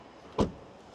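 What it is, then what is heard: Solid-sounding car door closing. A door of a Skoda Kodiaq RS is closed, producing a single short, low thud with a deep body and a quick decay. The door shuts with a solid-sounding close.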